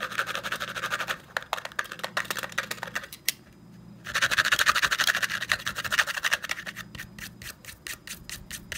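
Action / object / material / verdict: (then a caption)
tap / plastic and metal desk stapler / plastic / none. A closed black plastic and metal desk stapler with a textured black plastic top, held in the hand, is tapped and scratched with fingertips and short nails. Quick, bright clicking taps and dry scratching run densely, then drop to near silence for under a second. The sound returns as louder, busier scratching before ending in sharper, more separated taps.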